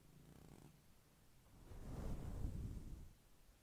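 A black plastic fine-tooth comb, held in the fingers, is brushed and scratched across a fluffy, fist-sized, grey-white synthetic fur windscreen over a microphone. The combing gives a deep, muffled rumble with no bright edge, first soft and then swelling into a louder, rougher stroke before fading back down.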